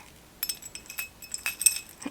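A small ceramic trinket dish is tapped repeatedly, giving a run of light, bright, high-pitched clinks with very short ring. The taps come in an irregular cluster, with a couple of slightly louder clinks near the end.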